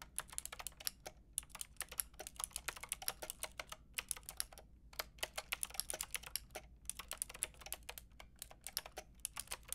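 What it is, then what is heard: Plastic mechanical keyboard. Fingertips and long red nails type rapidly on a Lofree mechanical keyboard with a white plastic case and round pink and grey plastic keycaps. Bright, short plastic clicks and clacks come in quick bursts, with brief pauses, over a low steady hum.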